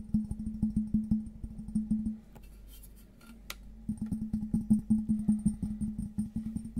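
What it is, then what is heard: Cut crystal glass vase tapped with fingertips and nails. Fingertips and nails tap quickly across the patterned surface of a large, hollow, empty cut-crystal vase, and each tap rings with a short, low tone near 215 Hz. The tapping stops for about a second and a half, during which only a faint rustle and a single sharp click are heard. It then resumes in the same rapid rhythm.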